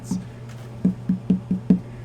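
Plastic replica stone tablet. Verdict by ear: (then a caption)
Hollow. A hollow, 1:1 scale replica Grail tablet that looks like plastic, with sound holes on the back, is tapped like a bongo drum. Six short, dull, woody knocks with a low pitch ring out briefly over a steady low hum. Its hollowness gives each tap a wood-block-like tone.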